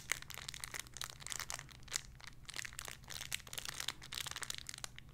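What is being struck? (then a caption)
Thin clear plastic bag holding a foam squishy toy. A small clear plastic bag holding a pink pig squishy toy is crinkled and squeezed with fingertips and long nails. The result is quiet, continuous, bright crinkling made of dense sharp crackles, over a faint steady low hum.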